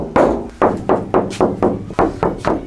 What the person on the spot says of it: it sounds solid and then when we stick that one and that one it'll even be a lot more dampened so it's working